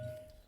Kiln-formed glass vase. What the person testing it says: if you hear any kind of dull sound and that ring isn't there then there's potentially a crack that extended down